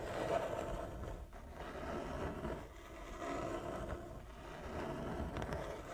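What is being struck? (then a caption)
Wooden chess board with inlaid squares. Long nails slowly scratch across a large, flat wooden chess board with inlaid squares, both hands working over the surface. A soft, continuous rasping scrape carries a faint mid-range tone, swelling and fading in gentle waves without sharp impacts.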